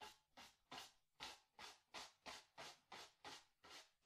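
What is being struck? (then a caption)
Bristle brush on stretched cotton canvas. A wide bristle brush with a wooden handle scrubs blue paint in rapid strokes across a small white stretched cotton canvas on a wooden stretcher frame, hollow behind. About twelve quick, bright, hissing scratches come in a steady rhythm, each swelling and fading. There is almost no low end.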